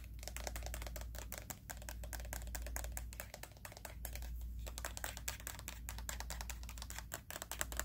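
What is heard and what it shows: Fingernails tap rapidly on the hollow plastic headband of white plastic over-ear headphones with padded ear cups. The result is a fast, steady stream of short, bright, dry clicks with almost no ring, over a constant low hum.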